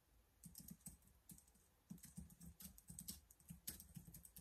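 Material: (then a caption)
Plastic. Fingertips type on the keys of a black plastic laptop keyboard, producing a quiet, steady run of soft taps. Each keystroke is a short, dull low thud with a bright clicky edge that dies away almost at once, with a brief pause near the start before the typing picks up again.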